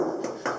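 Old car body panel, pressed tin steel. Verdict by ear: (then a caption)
Solid. Two knocks on the heavy pressed-tin body panel of an old car give solid, low-mid thuds with a short ring after each. The panel sounds solid and heavy, unlike a modern car.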